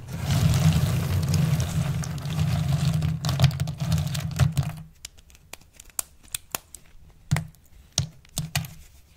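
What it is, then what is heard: Pile of dried soap chips being crushed. Both hands with long pink nails press, rub and crush a large layer of small, thin, hard, multicolored dried soap shavings spread on a purple surface, using fingertips and nails. About five seconds of dense, continuous crunching and crackling give way to sparse, crisp individual snaps and clicks against near silence.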